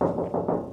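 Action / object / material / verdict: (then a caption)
knock / sheet metal panel with adhesive deadening mat / sheet steel / damped. A camper's sheet metal panel, covered with thin self-adhesive sound-deadening mat, is tapped several times in quick succession. Each tap gives a dull, muffled thud around 570 Hz that dies away within about a quarter second. The result is a deadened sound, markedly different from the tinny ring of the bare panel.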